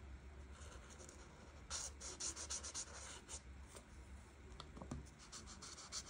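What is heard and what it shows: A felt marker tip scratches and rubs across a flat paper coloring page, filling in light green leaves. Quiet at first over a low steady hum, then a run of quick, bright, scratchy strokes starts at about 1.7 seconds and keeps going in irregular bursts to the end.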